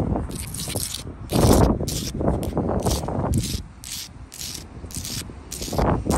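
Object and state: Sandstone block wall scratched with fingernails.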